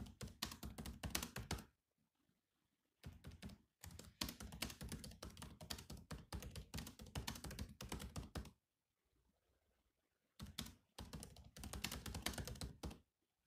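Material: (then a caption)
Plastic. A silver laptop with black plastic keys is typed on with the fingertips in quick bursts of clicky, thumping taps, separated by short silences. The taps have a low body and a bright edge, stop quickly, and come in an uneven rhythm.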